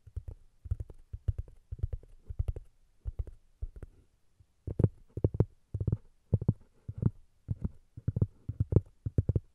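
Long nails scratch and tap the surface of a flat, solid round cork disc resting on top of a Tascam recorder. The sound is a string of short, dull, low thumps with brief scratchy edges, arriving in uneven clusters with a short pause near the middle. Each tap dies away almost instantly.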